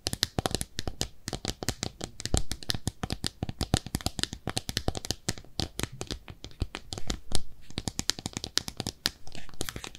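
A small pink speckled ceramic bathtub-shaped soap dish, hollow and empty, is held up and scratched and tapped with long nails along its rim and sides. Rapid, dense clicks and brief scratches come in quick bursts, each a sharp, bright tap with a low thud beneath it that dies away almost at once.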